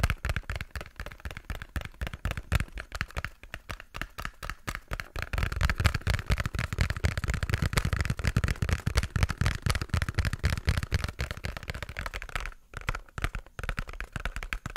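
Fingertips and nails tap rapidly on a small, hollow pink cardboard box held close to the mic. The taps are dry, hollow thumps with a deep, bassy body, barely any ring, and soft clicks on top. They run at an uneven, quick pace and briefly thin out near the end.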